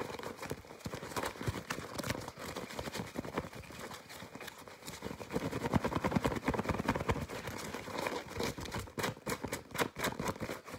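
Fingertips with short painted nails squeeze, crinkle and scratch a soft, hollow, white disposable respirator-style face mask made of nonwoven fabric with yellow elastic straps. A fast, dense stream of dry crinkling, scratching and sharp tapping clicks spreads across a broad, bright range. The sound grows louder in the second half.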